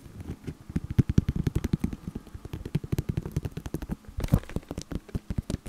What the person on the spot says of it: 4:28 - 5:17 Tapping a plastic decoration